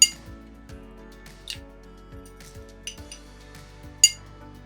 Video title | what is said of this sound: BALA BAIANA PERFEITA: NÃO DERRETE E PODE FICAR EXPOSTA! Brilhante, Crocante e macia por dentro! | 그릇 안에서 휘젓는 동안에도 유리처럼 작은 유리 소리가 나야 합니다